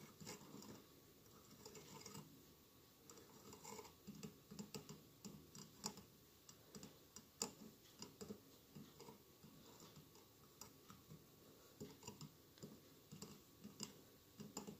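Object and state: Glass mosaic candle holder.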